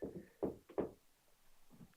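Knocking on an interior wall between a bedroom and the kitchen of a house for sale gives a few dull, short knocks with a low-mid, hollow tone that dies away almost at once. The wall sounds hollow, suggesting it is probably not a load-bearing support wall.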